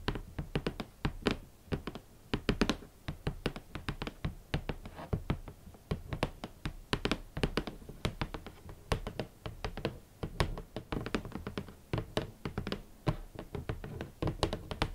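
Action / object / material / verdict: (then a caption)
tap / cardboard shoe box lid / cardboard / none. Long nails and fingertips tap on the hollow lid of a large, rigid red cardboard shoe box. A steady, uneven stream of quick taps gives dull, hollow low thuds mixed with sharp nail clicks. Each tap dies away almost at once.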